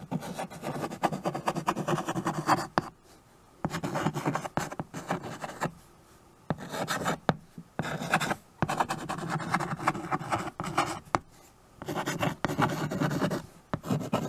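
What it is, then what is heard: Chalk writing on a chalkboard. A stick of white chalk writes "Please comment below if I missed your name" across a small framed chalkboard held by hand. Many short, raspy scratching strokes come in bursts separated by brief silent pauses, with a mid-low body and a dry texture.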